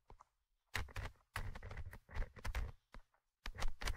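The small metal mesh microphone grille of a Tascam handheld recorder is tapped and scratched with the thin tip of an orange stick. Close, dry, bassy thumps mix with bursts of scratchy rustling and short silent gaps between them. There is no ring after each contact.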